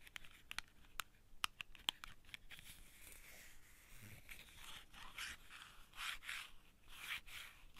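A small printed cardboard matchbox outer sleeve, hollow and empty with its tray of wooden matches sitting below, is held in both hands and tapped and scratched with long painted fingernails. Sharp, dry, bright clicking taps come first, then give way to soft, hissy scratching and rubbing that swells and fades in waves.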